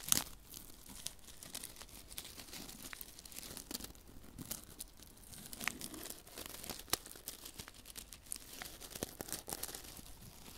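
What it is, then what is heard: Paper silica gel sachet. A small flat paper silica gel sachet filled with silica beads is held in one hand while fingertips rub and crinkle it close to the microphone. The result is a steady, bright, dry crinkling and rustling. Sharp papery crackles and ticks stand out, at about 0.1, 5.7 and 6.9 seconds.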